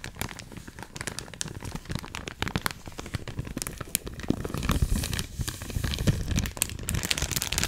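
Long acrylic nails grip, scratch and crinkle a medium-size, full, clear plastic resealable bag holding a stack of cotton rounds behind a printed paper label. Dense crackling and crinkling plays throughout with sharp clicky transients, and the sound grows fuller and louder in the second half.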